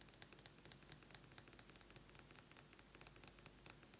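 A metal lipstick case is tapped rapidly with fingernails, producing about 23 quick, bright clicking taps in an uneven rhythm. The sound is quiet, high-pitched and dry, with almost no low end and each tap dying away instantly.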